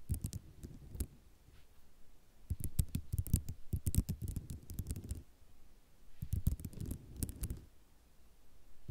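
Long nails scratch and tap across a flat sheet of white ceramic mosaic tiles, giving bursts of quick, dry clicks and rattles with soft scraping between them. The taps come in dense clusters with brief quieter pauses, each click dying away almost instantly with a low thud and bright ticks on top.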